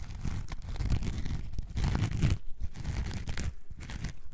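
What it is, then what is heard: Foam sponge being scratched. A coarse orange foam sponge block, held in both hands, is scratched with long nails. The sound is a dense, continuous run of rough, crackling scratches, mostly deep and low with faint bright hiss, and brief lulls between strokes.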